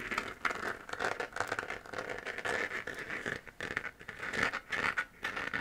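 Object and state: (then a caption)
3D-printed plastic moon lamp. Long nails scratch the textured surface of a hollow 3D-printed plastic moon-lamp sphere glowing white. The result is a dense run of quick, dry, crinkly scrapes with a bright, raspy mid-high tone around 1.5 kHz and almost no low end. The strokes rise and fall in short bursts throughout.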